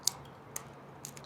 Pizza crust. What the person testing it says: вы слышите хруст. Это довольно тонкое тесто.